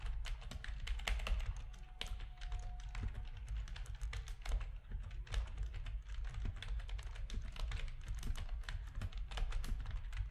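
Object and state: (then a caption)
Plastic computer keyboard being typed on. Fingertips of both hands type steadily on a full-size black plastic RGB-backlit keyboard resting on a desk, its hollow plastic housing giving each keystroke a deep, thuddy body. A fast, continuous stream of short clacks and bright taps, each dying away almost instantly, runs throughout at an even, moderate level.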